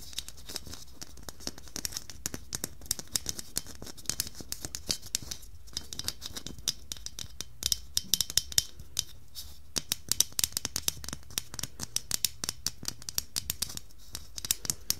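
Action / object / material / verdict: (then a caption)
tap / plastic Christmas bauble / plastic / none. Long nails tap and scratch a medium, hollow red plastic Christmas bauble with silver glitter lines. The result is a dense run of quick, dry, bright clicks mixed with scratchy rasps, each tap stopping almost instantly with no ringing.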